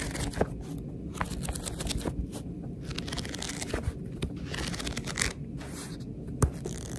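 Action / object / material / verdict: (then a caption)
scrape / paperback book (paper) / paper / none. A fingertip and long nail riffle and scratch the stacked page edges of a paperback book, seen from its back cover with a barcode. The result is a steady, dry papery rustle and scraping, like shuffling, over a low rumble, broken by scattered short, bright ticks and flicks.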